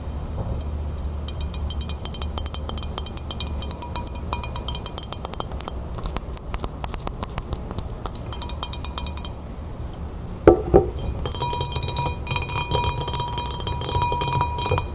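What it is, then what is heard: Pilsner glass of fizzy lemonade. Long red-painted fingernails tap quickly on a tall, clear pilsner-style glass full of fizzy lemonade resting on a wooden table. The result is rapid, uneven bright clicks and clinks with faint high glassy ringing over a soft low background. A couple of louder knocks come just past the ten-second mark, followed by busier tapping with a steady ringing tone.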